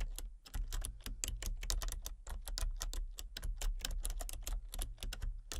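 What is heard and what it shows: Fingertips and painted nails type rapidly on a full-size plastic computer keyboard with a colour-changing backlight. The result is a fast stream of short, bright plastic key clicks and taps over a steady low hum.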